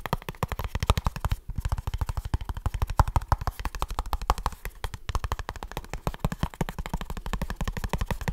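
Fingertips and short nails rapidly tap and scratch a small kraft cardboard product box. The result is a fast, steady stream of dry, hollow, low thuds with very little ring, briefly pausing around 1.5 and 5 seconds, plus a faint scratchy texture on top.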